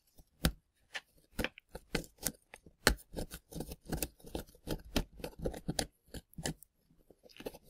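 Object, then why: Plaster dig block. A gloved hand scrapes crumbly plaster fill around plastic dinosaur bones with a small pointed scraping tool. The result is a quiet, irregular series of short, dry scratching crunches, each a brief broadband burst with a low thud and a bright gritty edge. Each crunch dies away almost instantly.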